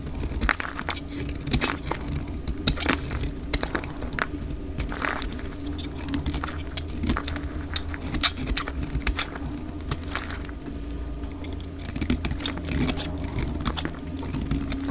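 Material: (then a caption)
Soap. A solid rectangular white bar of dry soap, held in the hand, is cut into curls with a metal utility blade. Rapid, crisp scraping clicks and crackles with bright edges repeat throughout over a steady low hum.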